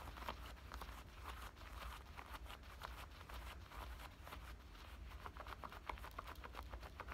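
Long nails scratch along the pocket edge and seams of worn black denim cutoff shorts. Quiet, rapid, dry scratching strokes rise and fall over a steady low rumble throughout.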